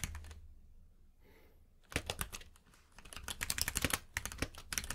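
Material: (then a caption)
Plastic. Fingertips type on a compact mechanical keyboard with plastic keycaps, producing sharp, bright clacks over a low thump. A few soft taps open the clip, followed by a quiet pause, then a quick burst of keystrokes and, after a brief lull, steady rapid typing to the end.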